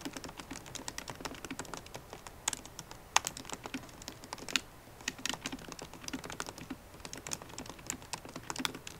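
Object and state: Laptop keyboard with plastic keys.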